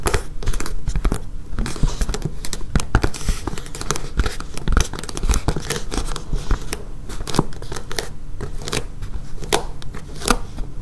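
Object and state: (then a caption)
Foam mat tapped and scratched with nails. Long painted nails tap and scratch across a flexible, solid blue and yellow foam mat with a blue grid top. Rapid, dense taps land as short dull thuds with brief bright clicks and scratchy crackle between them. The result is a steady, close, fast-decaying stream of taps that never rings out.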